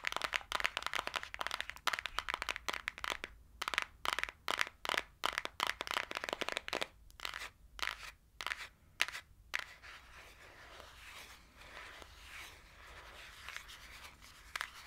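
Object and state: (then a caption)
Cardboard palette scratched and tapped. Long acrylic nails scratch and tap quickly across the printed cover of a small, flat, green cardboard eyeshadow palette, held closed in the hand. Dense, crisp clicks and scratchy bursts come in a rapid stream for the first ten seconds, then give way to softer, continuous rustling scratches.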